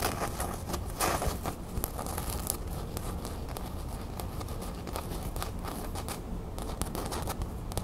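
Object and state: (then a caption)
Canvas fabric drawstring pouch. Long nails scratch across the gold printed crown on a small beige cotton canvas drawstring bag held up in the air. The result is a steady, dense rustling scratch with quick bright crackles, over a faint low hum.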